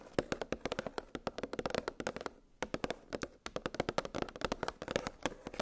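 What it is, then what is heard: Plastic blister pack of metal cookie cutters. Long pink nails tap rapidly on a clear, hollow plastic clamshell blister package holding nested metal gingerbread cookie cutters on a cardboard backing. About 33 crisp, dry clicks with a hollow plastic tone near 500 Hz stop almost instantly, with a brief pause in the middle of the run.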